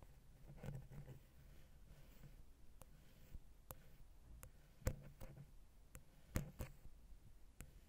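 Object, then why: Metal microphone capsule, wooden pick. A wooden ear pick taps and scratches the side of the silver metal X/Y microphone head on a Zoom H6, with its small hollow capsules. Quiet, irregularly spaced taps give sharp, very short clicks over a dull, low-heavy rumble, with soft scratching between them.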